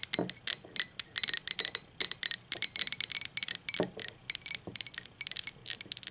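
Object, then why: Ceramic mug. Long acrylic nails tap and scratch the wall of a speckled teal ceramic mug, hollow and upside down on a table. A rapid, uneven run of bright, clicky taps, each with a brief high ring, is heard, with a few softer, lower knocks mixed in. The taps die away almost instantly.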